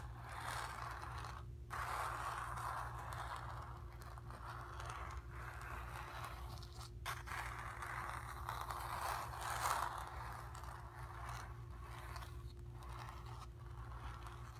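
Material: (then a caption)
Cotton canvas. Long nails scratch and rub across the surface of a painted cotton canvas, making a continuous dry, raspy scraping centered in the midrange with brief pauses between strokes. A steady low hum runs underneath throughout.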